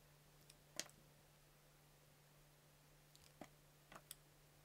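A solid, multicolor layered soap cube about the size of a palm is held in the hand and sliced into thin curls with a yellow utility knife blade while a fingertip guard is worn. Six short, bright, crisp cutting clicks stand out: a faint one and a louder one early on, then four more clustered near the end. A steady low hum sits underneath throughout.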